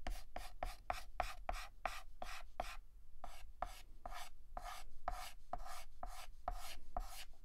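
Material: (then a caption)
Chalk. A yellow chalk stick held in the fingertips shades a petal on a flat, solid black chalkboard with rapid, short back-and-forth scratches. Each stroke is a dry, gritty scrape with a faint squeak-like tone near 720 Hz and bright hiss. The strokes follow one another in a steady, quick rhythm with almost no ring between them.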